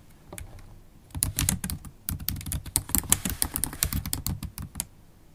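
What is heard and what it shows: Typing with long acrylic stiletto nails on a MacBook Pro keyboard with black plastic keys in an aluminium body. Quick, bright clicky taps with a low thud come in dense bursts, with a soft start and a quieter tail.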